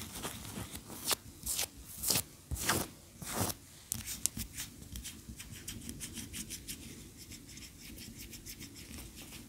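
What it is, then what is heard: Wax pillar candle. Long fingernails scratch and tap a large, upright, solid cream wax pillar candle. Five distinct, longer scratching strokes come first, bright and hissy across the upper range. They give way to a quicker, softer run of crisp fingernail ticks and light scratches that continue to the end.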